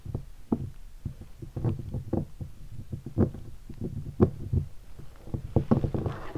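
Fingertips tap several spots on a hollow guitar hard case covered in black leatherette and stickers. The result is a quick, uneven run of dull, low, hollow knocks that stop almost at once, with a faint brighter brushing texture rising near the end.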